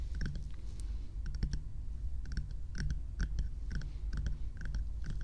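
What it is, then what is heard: Plastic night lamp tapped with nails. A small lit bear night light with a hollow frosted plastic or silicone shell is tapped with long nails and fingertips. The result is a steady run of quick, dry clicks with bright ticks over a soft low thump, each tap dying away almost at once.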